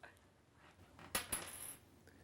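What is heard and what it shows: A penny found on a washroom floor is dropped to recreate a noise heard earlier. It lands with two sharp, bright metallic clicks a moment apart, followed by a thin high ringing that fades within about half a second.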